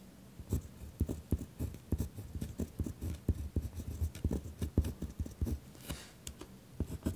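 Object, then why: Pen on a lined paper sheet over a wooden desk. A pen writes on a single sheet of lined notebook paper resting on a wooden desk, with the pen tip scratching steadily across the paper. Short, rough strokes come one after another in an uneven rhythm, and most of the sound sits low with a faint bright edge on some strokes.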